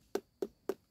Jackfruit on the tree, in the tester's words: Cái này nó còn bong bong bong á là nó chưa già lắm khoảng một tầng lãi nữa mình gõ bịch bịch bịch Á có nghĩa là nó chín nha